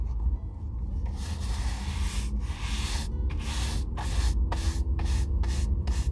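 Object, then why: Oiled leather boot brushed with a bristle brush. An oiled leather Red Wing Weekender Chukka boot, hollow and held in hand, is brushed with a bristle shoe brush in rhythmic rubbing strokes. Each stroke gives a bright, breathy hiss, and the strokes get shorter and quicker toward the end. A steady low rumble runs underneath throughout.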